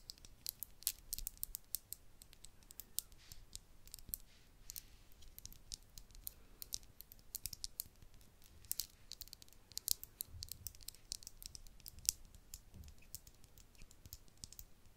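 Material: Glass.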